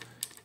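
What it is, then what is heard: Bakelite prayer beads clicking. Two-colour bakelite prayer beads (a tesbih) with 9x13.5 mm beads, made from old bakelite the maker had set aside for himself, click together as they are run along the string. Two bright, short clicks are heard, concentrated in the high frequencies. The sound is offered as proof of the material's quality.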